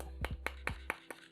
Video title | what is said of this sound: Set Putih Asus ROG Strix Keyboard,Mouse Dan Headset - Asus ROG Strix Moonlight Edition | bila kita ketuk tu memang dapat rasa kosong di dalam dia